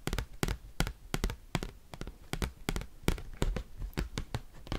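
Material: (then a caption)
Cardboard. Fingers tipped with paperclips rapidly tap and scratch the back side of an oversized, thin cardboard Pokémon trading card. The result is a quick, uneven series of sharp, bright clicks with dull low thumps underneath, separated by soft scratchy rustling. Each click dies away almost instantly.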